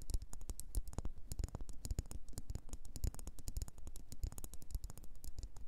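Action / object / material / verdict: tap / wax pillar candle / wax / none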